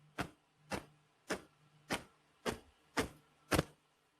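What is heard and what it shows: An eagle feather is flapped hard close to a microphone, giving seven sharp, broadband whooshing swishes at a steady, moderate pace, each brief and bright with a short tail. The eagle feather is clearly audible as it cuts the air, unlike an owl feather, which stays silent when shaken just as hard.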